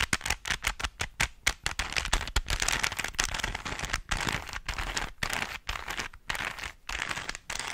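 Fingertips twist the layers of a small, hollow plastic 3x3 Rubik's cube held close to the microphone. The result is a rapid stream of sharp, bright plastic clicks and rattles. Quick bursts at the start give way to denser, scraping turns with short pauses in between.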